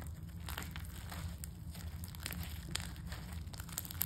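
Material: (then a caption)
Slime, foam beads. Pale-yellow crunchy foam-bead slime, a soft, solid mass, is stretched between two hands, then squeezed and kneaded with knuckles and fingers on a table. Steady, quiet crunching and crinkling sit over a low rumble, with sharp bright crackles and pops breaking through as the beads are crushed.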